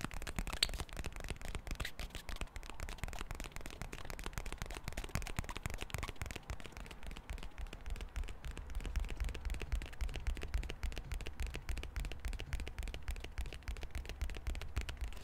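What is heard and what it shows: A small, hollow, rectangular pink plastic card deck box is held in both hands and tapped and scratched with the fingertips and nails. The result is a rapid, irregular stream of short, dry clicks and scratches with little ring, over a steady low rumble.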